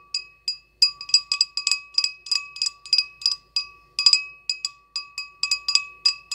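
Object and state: Empty glass goblet.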